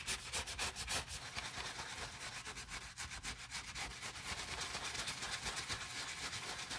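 Gloved hands scrub the soapy, turned-out grey jacquard nylon lining of a Prada nylon handbag with a wooden-handled bristle brush. Rapid, bright, scratchy brushing strokes repeat at about four per second, steady and fairly even, with little low end.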